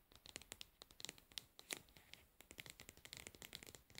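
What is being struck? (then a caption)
Plastic cosmetic jar lid. Long nails scratch and tap the pink plastic lid and its edge on a plastic cosmetic pad jar held in both hands. The result is a quiet, rapid, irregular run of crisp, bright clicks and short scratchy strokes, each dying away almost instantly with little low end.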